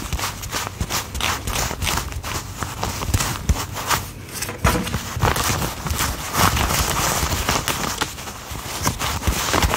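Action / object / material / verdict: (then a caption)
flick / wad of paper banknotes / paper / none. A thick wad of worn US $1 paper bills is held in both hands while a thumb peels and flicks the bills one at a time to count them. The result is a steady run of dry, papery flicks and rubbing crinkles with bright edges and a soft low thump beneath each snap.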